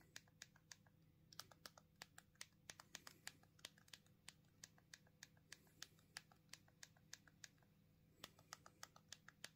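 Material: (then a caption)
Plastic. Two thumbs tap repeatedly on the rubbery plastic keypad buttons of a small black plastic Punkt minimalist mobile phone held in both hands. Around forty short, bright, dry clicks come in quick, uneven bursts, each dying away almost instantly. A faint low steady hum sits underneath.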